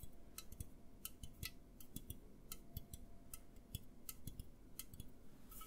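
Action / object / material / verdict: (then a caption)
tap / aluminum drink can / aluminum / none. An A&W aluminum drink can, held tilted in both hands, is tapped and scratched with fingertips and nails. Quiet, dry, irregular taps each give a soft low thump and a bright click that dies away almost at once, with faint scratching and a steady low hum underneath.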